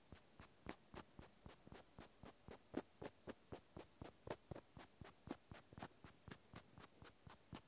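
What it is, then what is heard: Cork stopper scratched with a cotton swab. A cotton swab scratches along the textured side of a small, solid natural cork stopper held in the fingers. It makes quiet, soft, dry scratching strokes with bright, high hiss, repeating quickly at about four per second in a steady, rhythmic pattern.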